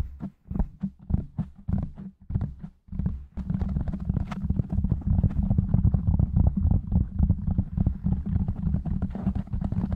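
Fingertips of both hands tap and scratch quickly around the sides of a black foam windscreen on a silver microphone. Separate dull, bassy thumps come at first, then turn into a dense, continuous stream of rapid tapping and rubbing in the last six or so seconds.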